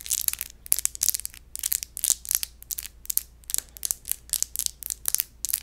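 The textured surface of an empty glass wine bottle is scratched, giving a crunchy, grinding sound. It comes as a rapid series of short, bright scraping bursts with almost no low end and no ringing between strokes.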